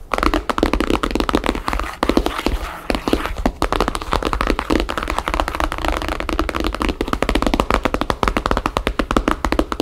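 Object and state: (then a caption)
Hardcover album tapped with fingernails. Long painted fingernails of both hands tap rapidly on the map-printed paper cover of a thick hardcover book or album lying flat on a wooden table, its solid block of pages beneath. A steady stream of quick, dry, dull taps with almost no ring, centered around a low-mid tone near 300 Hz with little high content, continues without pause for the whole clip.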